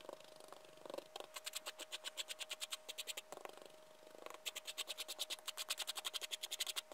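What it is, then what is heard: Sherbet powder scraped with a liquorice stick. A liquorice stick held in a gloved hand rakes and scrapes loose white sherbet powder back and forth across a flat white surface. It makes dozens of quick, bright, gritty scratching strokes in fast rhythmic runs, with brief softer pauses near the start and middle. A faint steady mid-pitched tone runs underneath throughout.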